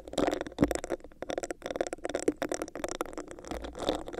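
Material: Plastic.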